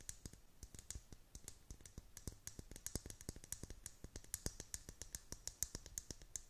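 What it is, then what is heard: Plastic dome lid tapped with nails. Long painted nails tap and click on the hollow clear plastic dome lid of a tumbler holding pastel beads and a unicorn figure. A quiet, rapid, uneven run of short, dry clicks follows, each pairing a soft low thump with a bright tick and dying away almost at once.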